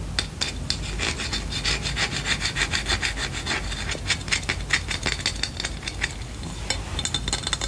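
A small lint shaver tool with a solid light wooden handle and a bent metal wire blade frame is scratched and tapped with long painted nails. Steady, dry scratching rubs along it, broken by bright, crisp clicks and taps in an irregular rhythm.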